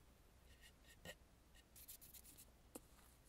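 Long nails tap and scratch across the face and mouth area of a red painted, hollow, carved wooden mask. Brief, dry taps stand out from soft, bright scratching and rubbing over a quiet low background hum.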